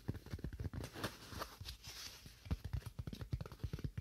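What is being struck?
Styrofoam slab.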